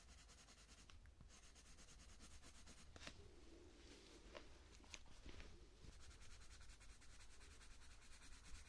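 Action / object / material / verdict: scrape / coloured pencil on thin paper / paper / none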